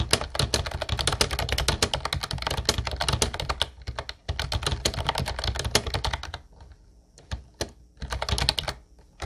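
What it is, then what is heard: Plastic typewriter-style keyboard being typed on. Both hands type with their fingertips on a mint-blue plastic Ubotie retro typewriter-style keyboard with round white keycaps. The result is a rapid, dense run of bright, sharp clacks with a low thock under each press. A brief pause comes near four seconds, then a quieter stretch with only a few isolated clicks before fast typing resumes near the end.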